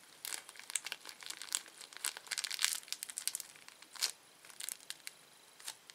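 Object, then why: Thin plastic candy wrapper. A small, thin, empty red-orange printed plastic candy wrapper is stretched, twisted and crinkled between the fingertips and nails of both hands. Quiet, dry, bright crackles come in irregular clustered bursts with sharp snaps and almost no low end, each burst dying away instantly.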